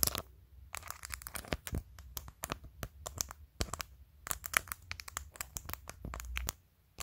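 Long nails tap along the top edge of a phone in a clear plastic case with colorful acrylic press-on nails glued on, then scratch across the glued nails. Quick, sharp, bright clicks and scratchy crinkling come in dense irregular bursts over a low background rumble, which drops away near the end.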